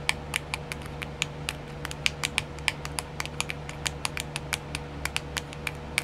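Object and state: Plastic nail art wheel tapped with nails.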